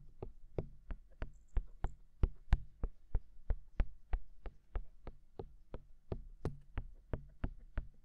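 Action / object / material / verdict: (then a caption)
tap / silicone dummy ears of a binaural microphone / silicone / none. Fingertips tap rapidly on the rims and canals of white silicone dummy ears mounted on a black binaural microphone. About 24 short, dull, low thumps come at roughly three per second in a fairly even but loose rhythm. Each tap dies away almost instantly, with only a faint bright click at its onset.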